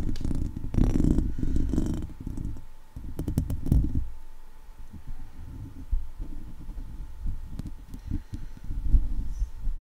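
Long nails tap and scratch the top of a hollow steel wire-mesh microphone grille, then a hand grips and rubs the mesh. The sound is a close, muffled, low-heavy rumble of scraping and soft thumping, with a few sharp clicks where the nails strike the wires.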